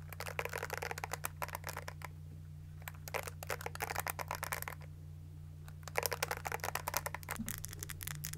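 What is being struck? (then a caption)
Plastic hairbrush with plastic bristles. Long nails tap the body of a hand-sized pink plastic detangling hairbrush and scratch and flick across its plastic bristles, making bursts of quick, dry clicks and bright scratchy rasps. The sound comes in three bursts separated by short pauses, over a steady low hum.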